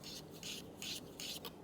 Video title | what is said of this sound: Making Inverse VZ Rear Roller Stays Legal | definitely scraping against this clearance gauge